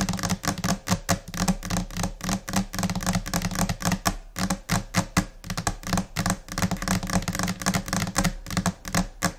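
Both hands tap long nails across a solid, flat white laminate desk surface. The result is a rapid, irregular stream of short, dry clicks and knocks with a warm low thud beneath them and a bright edge on top.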